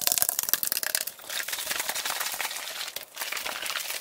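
An Arizona iced tea metal can is tapped and scratched quickly, sped up to double speed. A flurry of sharp, bright clicks and taps comes first, then gives way to a steady, crinkly, high scratching hiss with only a brief dip before it picks up again.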